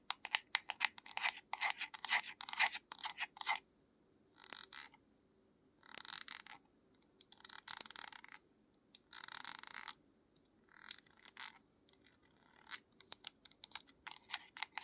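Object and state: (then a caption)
Small plastic jar tapped and scratched with nails. A small white plastic jar with a screw lid and a paper label, held in one hand, is tapped and scratched on its lid and sides with long nails. Fast, dry, bright clicks and scratchy bursts come in clusters separated by short silences, with no low end and almost no ring.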